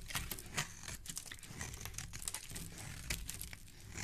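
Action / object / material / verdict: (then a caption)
scrape / soap bar / soap / none. A solid orange bar of soap held in the hand is shaved with a utility knife blade, the shavings falling onto a wooden surface. Quick, crisp scraping and crinkly crunching strokes come in a steady stream of bright bursts over a soft low rumble, each stroke dying away almost instantly.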